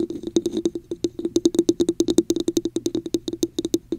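Long acrylic nails scratch and tap the top and sides of a hollow red plastic cup with a raised diamond texture, held over a microphone. A rapid, steady run of crisp clicks and taps, each with a brief hollow ring around 340 Hz and a bright high tick, dies away almost instantly.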